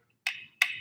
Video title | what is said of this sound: September Live Stream | Cheap. Straight plastic.